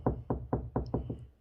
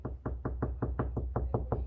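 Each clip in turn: First: Six quick knuckle knocks with a low, boomy thud: hollow drywall with no stud behind it. Second: Eleven quick, dull knuckle knocks on drywall, each dying at once: a solid spot backed by a stud.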